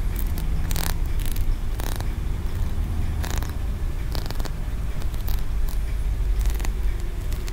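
A small, solid green aventurine stone pagoda tower, a tiered Wenchang feng shui figurine, is held in the fingers of both hands while fingertips and nails tap and scratch its ridged tiers. Short, bright, crackly scratching bursts come through repeatedly over a steady low rumble that stays at an even level throughout.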